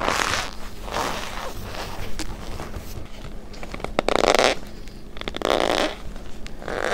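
A heaped pile of loose white cornstarch with a few red dye flecks sits in a plastic bowl while long-nailed fingertips press, rub and squeeze it. This produces bursts of crunchy, squeaky compression with a strong midrange squeak near 600 Hz and bright, grainy crackle. The louder squeezes come around the second and sixth seconds.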